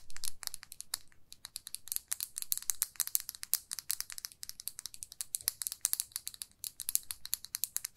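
Long nails tap and scratch a small glossy red plastic lipstick tube in a fast, uneven run of sharp clicks and scrapes. Each tick is bright and high with almost no ring, separated by brief near-silent gaps, all over a faint low rumble.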